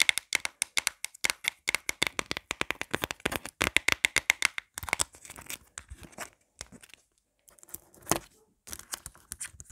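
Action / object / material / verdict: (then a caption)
tap / plastic phone case / plastic / none. Long black nails tap and scratch quickly and aggressively on a marble-print plastic phone case lying flat on a table, including its pop grip. The result is dense, bright clicks and scrapes with almost no low end. The rapid taps give way to sparser scratching and pauses in the second half.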